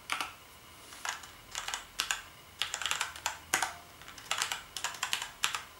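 A full-size black plastic gaming keyboard with backlit keys, lying on a striped bedsheet, is typed on with fingertips. Quick, bright plastic clicks come in uneven bursts and short runs, each dying away almost at once, with almost no low end.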